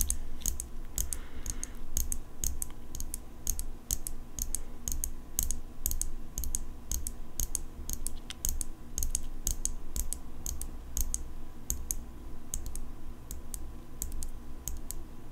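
Long acrylic nails tap rapidly on the blade and handle of an open steel folding pocket knife. Each tap is a short, bright metallic click that dies away almost instantly, in an irregular stream over a steady low hum.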